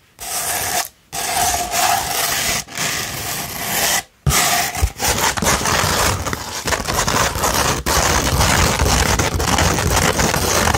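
A sandpaper sheet, first rolled and then held flat, is scratched with long nails. Dense, gritty, broadband scratching comes in bursts separated by short silences in the first few seconds, then settles into continuous rough rasping with a bright, hissy top.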